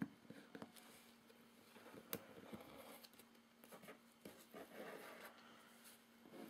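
Fingertips tap and scratch across the label and top of a medium, closed, hollow corrugated cardboard shipping box. Several soft, dry taps stand out over quiet, papery scratching, with a faint steady low hum underneath.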